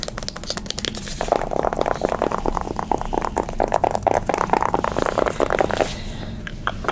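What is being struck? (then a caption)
Soft-touch cardboard makeup palette. Long nails scratch and rub rapidly across the surface of a pink soft-touch cardboard eyeshadow palette held in hand. The result is a fast, dry, papery scraping texture centered in the midrange, with quick strokes and almost no ring. It grows denser and louder through the middle, then thins out near the end.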